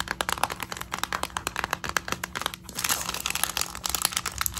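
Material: Plastic.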